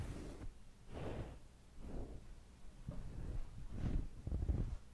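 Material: Nothing is struck.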